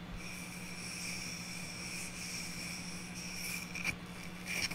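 Long natural nails scratch across the flat face of a small, solid round wood-slice ornament with a bark edge, held in one hand. A soft, steady dry rasp runs throughout over a faint low hum, broken near the end by a few sharper taps on the wood.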